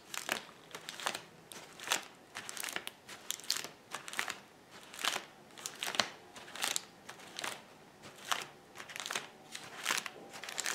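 Fingers squeeze and pop the air bubbles in a flat sheet of clear plastic bubble wrap lying on a table. Short, bright crackling pops and crinkles come in irregular bursts, each dying away almost at once, over a quiet background.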